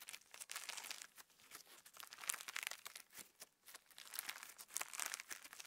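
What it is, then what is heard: Sequin slime. A handful of translucent pink sequin slime, PVA slime with plastic star sequins, is squeezed, stretched into a band and pinched with fingertips and thumbs. It makes quiet, dense, bright crinkling and crackling with sticky, tearing-like snaps in uneven bursts, and almost no low end.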